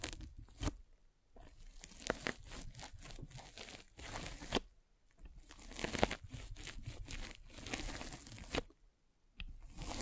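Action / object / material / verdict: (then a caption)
scrape / polyethylene foam net sleeve / polyethylene foam / none. A metal-spiked derma roller is rolled over a white polyethylene foam mesh sleeve fitted over a microphone. The result is dense, crunchy, tearing-like scratching with many crisp clicks. The scratching comes in bursts separated by brief near-silent pauses.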